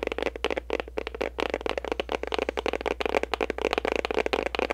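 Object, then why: Cardboard gift box. Long nails tap and scratch the sides and back of a pink printed cardboard gift box, producing a rapid run of about eighteen short, dry clicks and scrapes. The sounds have a papery midrange body and crisp high edges over a steady low hum.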